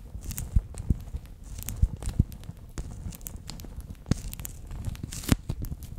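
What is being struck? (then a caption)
Clear plastic pouch filled with water beads. A bear-shaped clear PVC pouch full of water beads is held close to the microphone while its ear section is squeezed, making the beads shift and pop inside. Soft, low squelching and crinkling runs throughout, broken by scattered sharp pops and clicks with faint bright crackle.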